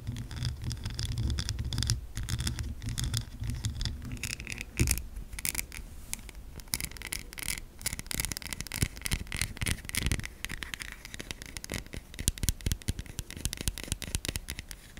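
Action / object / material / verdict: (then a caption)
scrape / soap bar / soap / none. Long nails scratch and tap the surface of a solid white oval bar of soap, first lying on a table and then held in the hand. Dry, scraping scratches mix with quick, crisp taps over a low hum at the start, then turn into a dense run of bright, clicky taps and rasps.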